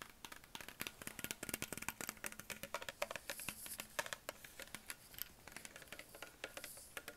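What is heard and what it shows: A hollow green Perrier PET plastic bottle with a ridged base is tapped with fingertips and nails on its upper body. A quick, uneven run of dozens of dry, bright, clicky taps, each with a faint hollow knock around 590 Hz, dies away almost instantly with no ring.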